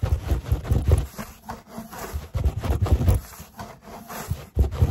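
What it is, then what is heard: Rolled foam yoga mat. Fingertips scratch and rub along the textured foam of a large grey foam yoga mat rolled into a hollow cylinder with a strap and a label, and tap near the label. The sound is a low, hollow rubbing and thumping that comes in uneven bursts, with short dull taps and no ring.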